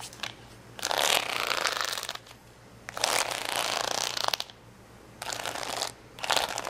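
Long fingernails scratch across the rows of a flat sheet of red, yellow and green acrylic rhinestones on a clear plastic backing resting on a towel. The result is bursts of bright, crackly scraping in four main passes, separated by quiet pauses.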